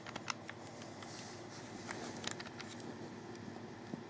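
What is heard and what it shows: Fingertips click the buttons and thumbsticks of a hollow black plastic Xbox 360 controller. Quiet, sharp plastic clicks and taps come scattered over a steady low hiss, each one brief and bright with almost no ring.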